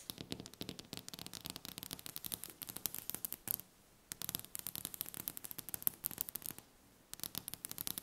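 Long painted fingernails of both hands tap and scratch quickly across a large, solid, polished wooden table top. The result is a dense run of crisp, bright clicks with almost no ring, paused briefly twice.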